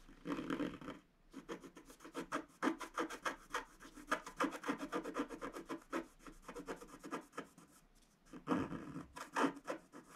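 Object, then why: Coated scratch-art paper card scraped with a wooden stylus. A wooden stylus rubs and scratches the black coating of a flat black-coated scratch-art paper card over a pink flower design. Quick, dry, raspy strokes repeat in close bursts, with a soft papery hiss between them and short pauses near the start and end.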